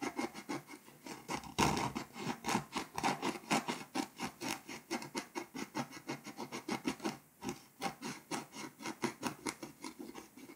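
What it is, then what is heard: Foil-coated paper scratch-off map being scraped. A scraper tool scratches the foil layer off a flat, foil-coated paper scratch-off map in a close-up. The result is a steady run of quick, rasping scrape strokes, each a short dry burst with bright, gritty highs, with no talking.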